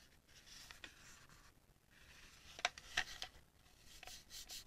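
Long painted nails rub and tap the smooth shell of a small, hollow, palm-sized pink plastic Munbyn label printer shaped like a penguin, held in both hands and turned over. A soft, bright scratchy rubbing runs throughout, broken by a few sharp, crisp plastic taps and clicks near the middle and a brief rustle at the end.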